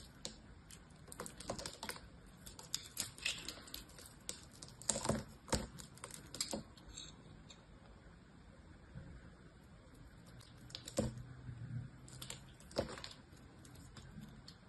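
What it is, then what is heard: Bar of soap being cut. A small knife scrapes and cuts a grid into a hand-held bar of green soap with a silver painted surface, peeling the coating to show the green soap underneath. Quiet, crisp clicking scrapes and flaking ticks come in irregular bursts with bright, short transients over a soft low background.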